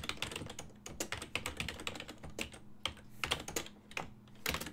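Fingertips type rapidly on a full-size silver-and-black plastic desktop keyboard with hollow key switches. Quick, bright, clacky key taps come one after another throughout, each dying away almost instantly, over a faint steady low hum.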